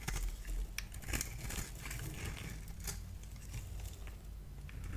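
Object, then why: Bar of soap. A solid purple bar of soap, held in the hand, is scored and cut into flakes with a multi-blade cutter. Dry, crinkly scratching and scraping bursts come in quick succession over a low, steady hum.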